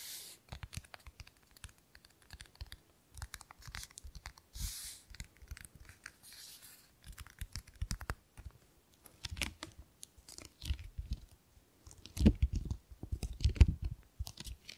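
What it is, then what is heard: Hardcover book with paper dust jacket. Long fingernails tap and scratch the cover and spine of a medium hardcover book with a glossy paper dust jacket showing a portrait, held close to the microphone. Quick, dry, irregular taps with a soft low thump mix with brief bright scratchy rasps and papery crinkles, growing louder near the end.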